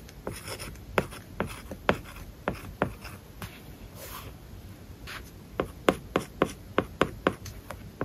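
A stylus tip writes on an iPad glass screen covered with a matte, paper-like plastic film. Sharp, short taps alternate with soft scratchy strokes as it moves across the surface. Each tap dies away almost instantly.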